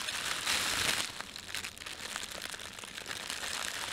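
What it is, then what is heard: Plastic bread bag being crinkled. Flat hands and fingertips rub and crinkle the film of a thin, empty, red printed plastic bread bag. The result is a dense, bright, continuous crackling rustle with almost no low end, loudest near the start before settling into steady, irregular crinkles.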